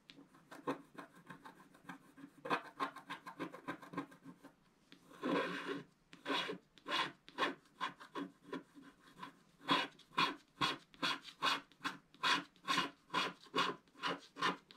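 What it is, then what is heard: Scratch-art card scraped with a wooden stick. A wooden stick is scratched across a flat scratch-art picture card lying on a table, a thin solid sheet with a black wax coating over colored paper, removing the black coating. Quick, dry, rasping strokes repeat in an uneven rhythm, with one longer continuous scrape near the middle; the strokes grow louder and more evenly spaced toward the end, with a bright, papery texture.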